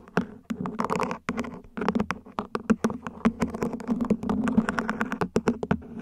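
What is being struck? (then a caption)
Small ribbed plastic plant pot, upside down. Long nails scratch along the ribs and tap the top of a small, hollow, mint-green ribbed plant pot, probably plastic, placed upside down. Rapid, sharp clicking taps mix with raspy scratching strokes, each with a short, hollow ring low in pitch around 227 Hz.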